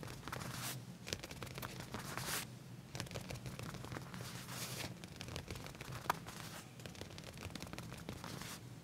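Fingertips with short nails scratch and trace across the back pocket area of black leather pants laid flat. The result is a quiet, continuous run of dry, scratchy rustling with brighter swells of scraping and a steady low rumble underneath.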